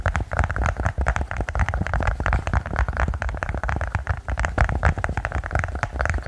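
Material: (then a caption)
Silicone. A silicone pop-it push-bubble toy is tapped quickly and continuously, giving a dense run of short, soft, muffled taps with a low, thumpy body and a slight hollow tone around the lower mids. Each tap dies away almost instantly, and the rapid taps blur into a steady patter.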